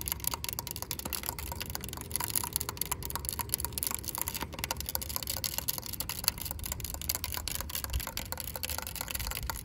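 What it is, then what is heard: Plastic fence top guard. Long pink acrylic nails tap and scratch a yellow, ribbed, hollow plastic corrugated safety guard capping the top of a chain-link fence. A rapid, steady stream of short, dry, bright clicks and scratchy rasps runs throughout, each tap dying away almost instantly. A faint low rumble sits underneath.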